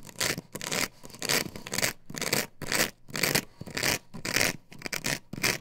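Long nails scratch and scrape across a plastic stencil template glued to a wooden board, which is held upright. Bright, rasping strokes come in quick back-and-forth bursts, roughly two per second in an uneven rhythm. Short silent gaps separate them, some strokes louder and harsher and others lighter.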